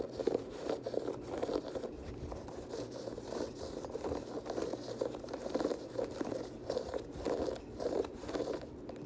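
Fingers scratch the laces and lace locks and tap the perforated leather upper of an empty dark teal leather Air Jordan 6 high-top sneaker. A steady run of soft, dry scratching and crinkly tapping bursts sits mostly in the midrange, with little bass and only faint bright texture. Each short burst stops almost at once.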